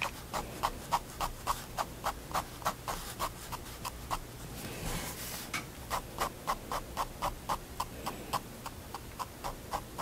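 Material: Paper.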